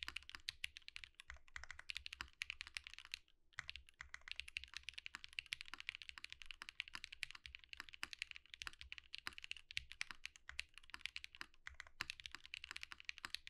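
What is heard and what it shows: A compact Think6.5 V2 mechanical keyboard with Zakus, white plastic keycaps and an underglow-lit case is typed on continuously with the fingertips of both hands. It makes a steady stream of short, bright, crisp clacks that die away instantly, with a brief pause a little past three seconds.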